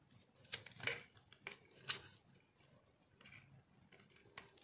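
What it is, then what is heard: Dry soap bar shaved with a knife. A metal knife shaves thin, crunchy layers off a solid, rectangular, speckled dry soap bar held in the hand. Several short, dry, bright scraping crunches stand out louder over quieter crackling and rustling between them. Each crunch cuts off quickly with almost no ring.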